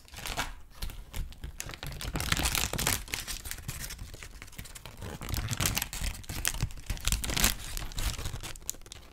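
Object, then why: Thin paper sheet. A thin, white, wrinkled sheet of paper is held in the hands and smoothed and crinkled with the fingertips. The result is a continuous run of dry crackling and rustling, with bright, fast bursts of crinkle over a soft, low rubbing noise.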